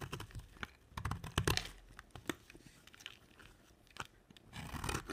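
A round, dry, solid white soap bar with a dark rim is held in the hand and scraped and carved with a utility knife blade. A series of short, crunchy scraping cuts sound with bright, crackly detail over a low thump, and each stroke dies away almost at once. Crunchy shavings come off the bar.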